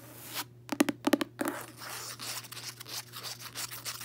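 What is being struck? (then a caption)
Cloth-covered hardcover book. Long nails and fingertips tap and scratch the cover of a closed, solid, medium-size red cloth-covered hardcover book with a gold emblem, lying on a bedsheet. A quick cluster of sharp, dry taps with a low woody knock comes early, then gives way to soft, bright, steady scratching that continues to the end.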